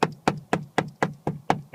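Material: Plastic.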